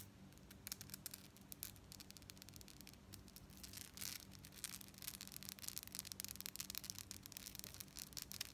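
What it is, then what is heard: Metal bead necklace. Long nails scratch and rapidly tap a held-up necklace of small gold and silver metal tube beads with a gold chain fringe. The result is a dense, bright stream of tiny clicks and scratchy rustles with sharp transient spikes over a faint low hum.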